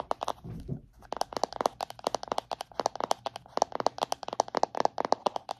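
A palm-sized round plastic body butter tub, held upright, is tapped rapidly on its lid and rim with long painted nails. A brief low rustle comes first, then a quick, uneven run of sharp, dry clicks with a hollow plastic tone around 700 Hz. Each click dies away almost instantly.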